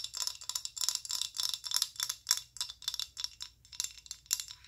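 Long acrylic nails tap and scratch a filled amber rigid plastic body lotion bottle of about 190 ml. A quick, uneven series of bright, clicky taps with short scratchy bursts is heard, almost all in the high range with no real low end. Each hit dies away instantly.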